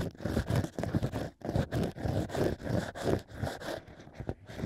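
A hollow stack of cork rings sits in a plush microphone ear while two bamboo ear picks scratch and scrape inside the cork opening. The result is a steady run of dry, low, rustling scrapes in uneven strokes, with little high-end brightness.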